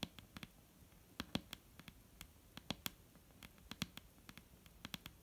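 Long painted nails of both hands tap a solid, dark brown wooden table top in 23 quick, irregular taps. Each tap is a quiet, dry click with a soft low knock and a bright tick on top, dying away almost instantly with no ring.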